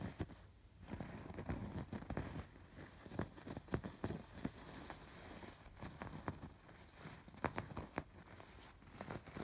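Fingertips and nails scratch the raised embroidered threads on a soft, stuffed fabric pillow. The result is a quiet, dry, scratchy rustle in uneven bursts, with short crackly strokes over a soft, low, muffled body.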